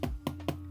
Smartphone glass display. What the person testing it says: the phone when you hit it it feels pretty Hollow now that's because the foam the back of the display is not glued to the rest of the components